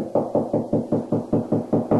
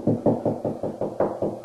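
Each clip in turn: First: Ten quick knuckle knocks on drywall, a dull boxy thud centred low-mid, typical of hollow space between studs. Second: Quick knuckle knocks on drywall, dull and short, some a touch brighter where the board sits on a stud.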